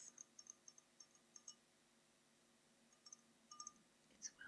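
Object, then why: Tinted glass goblet. Long painted nails tap and scratch the bowl of a small, hollow, dark bronze-tinted glass goblet held in both hands, which appears empty. Quiet, bright clicking taps come in a quick cluster at first, then a pause, then a few more sharp ticks, with very little ring after each.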